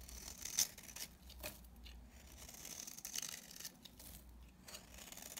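A utility knife blade scrapes and shaves flakes from the face of a dry, palm-sized solid pink bar of soap held in the hand. The result is a series of crisp, bright, papery scraping and tearing strokes, mostly high in pitch, with a few sharper crackling bursts over a faint low hum.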